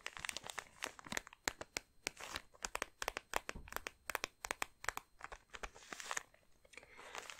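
Long nails scratch and crinkle a thin clear plastic bag holding soft thermal socks with a cardboard label. The result is a quiet, dense run of sharp, bright crackles and crunches with almost no low end, each snap dying away almost instantly, with brief softer rustling between bursts.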